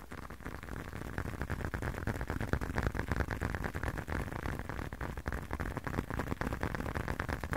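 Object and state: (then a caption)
Leather wallet. A small blue leather wallet held close to the mic is tapped and scratched by fingertips and nails. The result is a steady run of soft, dull, low-pitched taps mixed with faint scratching, with little ring after each tap.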